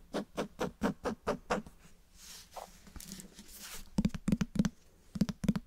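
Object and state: Cloth-bound hardcover book.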